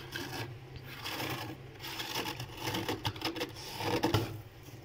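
Fingertips with red nails scratch and scrape a thick, fluffy layer of frost and ice built up as a solid mass inside a freezer. Dry, raspy crunching strokes come in uneven bursts over a steady low hum, with a few sharper, brighter scrapes near the end.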